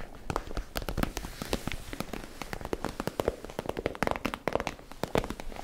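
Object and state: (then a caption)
Plastic zip pouch. Long manicured nails tap and scratch a medium, iridescent holographic PVC zip pouch with purple edging while hands squeeze it; the pouch looks empty and is hollow and flexible. The result is a rapid run of sharp, dry clicks over a steady bed of crinkling plastic, with brief bright snaps that stop almost instantly.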